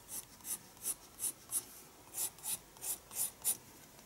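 A pencil makes shading strokes on a page of a small spiral paper sketchbook resting on a desk. Ten short, bright scratching rasps come in two groups of five, with almost no low end and no ring, separated by near silence.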